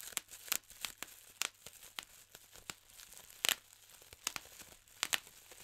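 Fingertips pinch and pop the air-filled bubbles of a large clear plastic bubble wrap sheet one by one. About fifteen sharp, dry snaps ring out at uneven intervals, with faint crinkling of the plastic between them. Each pop is bright and dies away almost instantly.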